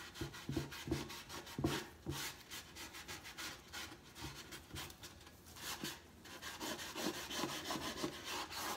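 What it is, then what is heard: Wooden crate being sanded. The side slats and lower boards of a large hollow wooden crate box stand are rubbed and sanded with a folded cloth or sandpaper held in the fingers, while the other hand braces the top. Quick, uneven scratchy strokes come about three per second, giving a bright, gritty rasp. The hollow box adds a short, low, woody knock to many of the strokes.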